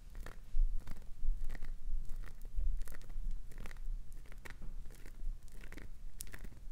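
Long nails scratch and scrape across the grooved face of a solid green glycerin soap bar, shaving bits off. Brisk, uneven strokes make dry, crunchy rasps with bright hiss, over a steady low rumble.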